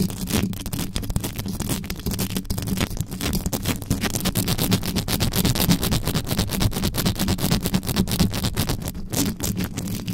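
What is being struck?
Metal mesh microphone grille.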